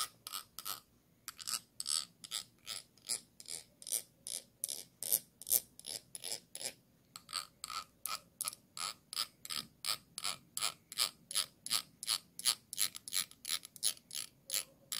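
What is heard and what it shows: A thin stick with a metal ferrule scrapes across the raised bumps and ridges on the base of a small, clear, hollow glass jar turned upside down. About 46 short, bright, rasping strokes come in a quick, fairly steady rhythm, with brief pauses near the start and middle. Each stroke is dry with no ring and almost no low end.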